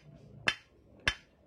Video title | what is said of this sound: NMAX 2DP KLEP NMAX NEW BK6. DERAJAT BOTOL KLEP STANDAR. PISTON ALL NEW NMAX BK6. | Kalau bunyinya padat, itu masih seimbang. Tapi kalau bunyinya sudah pecah, itu tandanya sudut 45-nya ini tidak sama tinggi.